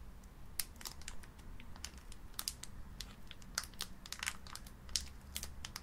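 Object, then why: Sealed foil card booster pack. Long painted nails press and crinkle a single small, sealed metallic-foil plastic Pokémon booster pack full of cards, held in both hands with its back side visible. Many quick, bright crackles and crinkles snap out irregularly over a quiet, low steady rumble.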